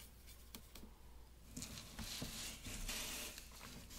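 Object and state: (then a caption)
Watercolor paper being brushed. A wet round paintbrush strokes and rubs across a large sheet of thick watercolor paper taped to a wooden board with blue tape, painting grey hair over a pencil sketch. Soft, papery brushing and scratchy swishes come through, with a few brief taps and brighter, louder rubbing in the second half over a low steady hum.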